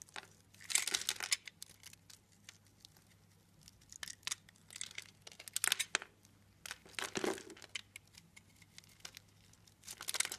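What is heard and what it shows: A blade pops small cubes off a solid blue soap bar that has been scored into a grid. Bursts of bright, crisp crackling and crunchy snaps come in irregular clusters, separated by near-quiet gaps over a faint low hum.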